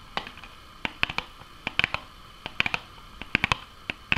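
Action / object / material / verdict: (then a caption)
tap / small cardboard food box / cardboard / none. Long nails tap on a small, hollow cardboard Nuggets box with bottom flaps and an orange side full of holes. About 18 sharp, bright clicks come in an irregular rhythm, each dying away almost at once against a quiet background.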